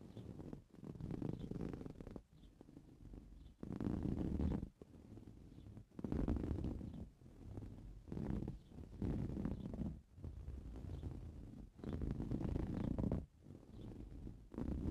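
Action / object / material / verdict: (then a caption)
scrape / soft-filled coarse-weave fabric cushion / woven fabric / none. Blue-painted medium nails scratch a soft-filled, green coarse-weave fabric cushion resting on a purple towel. The result is a dense, low, rumbling scratch that comes in repeated passes, alternating between louder and softer strokes with brief pauses between them.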